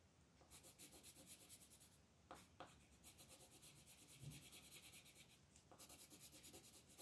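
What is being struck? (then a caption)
Colored pencil on a thin paper page on a table. A green colored pencil is rubbed back and forth across a flat, thin paper coloring book page lying on a table, shading the leaves at the upper right. Quiet, bright, scratchy strokes come in quick runs, broken by brief pauses and a couple of sharper taps of the pencil.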